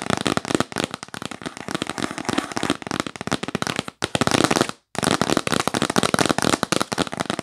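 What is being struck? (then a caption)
Cardboard box. Long nails tap fast and hard on a yellow printed cardboard gift box held upright, making a dense run of dry, crisp clicks and taps with no ring. The tapping breaks for a moment around the four-second mark and again just before five seconds, then resumes at the same rapid pace.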